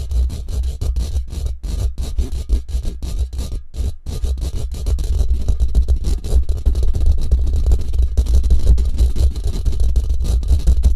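Fingertips and short nails rapidly scratch and scrape a hollow steel mesh microphone grille with a metal band. The result is a dense, irregular stream of short scratchy bursts dominated by a heavy low-end rumble around 59 Hz. There is a brief drop near the four-second mark, and the sound grows louder and busier in the second half.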